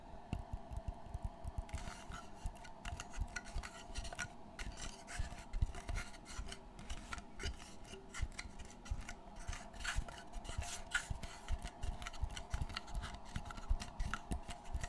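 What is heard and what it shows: Fingertips scratch and rub across the textured surface of a dark brown board and along the edge of its light wood frame. The result is a steady, close-up scratching and rubbing texture dotted with many quick, dry ticks and soft low thumps, with a faint tonal hum held underneath throughout.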